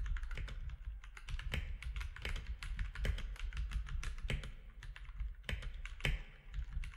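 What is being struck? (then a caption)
Mechanical keyboard with plastic keycaps. Fingertips type steadily on a compact mechanical keyboard with plastic keycaps. The result is a fast run of short, dry clicks over a low, constant rumble, with some keystrokes landing harder and brighter than others.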